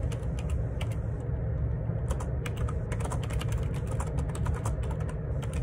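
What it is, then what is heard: Plastic split keyboard being typed on. Fingertips type rapidly on the plastic keycaps of a black Perixx Periboard 612 wireless Bluetooth dual ergonomic split keyboard, with a hollow plastic housing, resting on a desk. Steady bright, hollow-sounding key taps run throughout over a constant low rumble.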